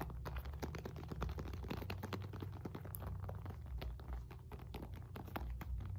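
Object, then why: Synthetic leather medicine ball. Long nails rapidly tap and scratch a solid red and white stitched synthetic leather medicine ball, 4-5 lb, while it is turned. Quick, dry clicks and scrapes run in a dense, steady stream with very short decay. A constant low hum sits underneath, and there is little high-end brightness.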